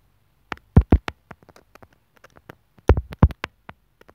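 A steel sewing needle taps and scratches rapidly on the mic hole of a small white hollow plastic inline microphone remote on a white earphone cable lying on a wooden table. The contact comes through as irregular, close, booming low thumps with very short decay, the loudest clustered in two bursts, with quieter scratchy ticks in between.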